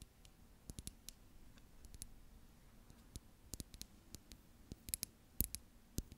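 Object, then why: Small glass bottle tapped with fingernails. A small clear glass cosmetic bottle with a black cap, apparently partly filled, is held close and tapped and scratched with long acrylic nails. Quiet, sharp, bright clicks and ticks land in an irregular scattered rhythm, with soft scratchy rustling between them. Each tap dies away almost instantly over a faint low background rumble.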